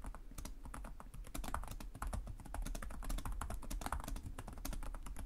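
Fingertips with short nails type continuously on the plastic chiclet keyboard of a black laptop resting on a desk. The result is a steady stream of rapid, short, dry key taps over a dull low thump, with sharp clicks that reach bright.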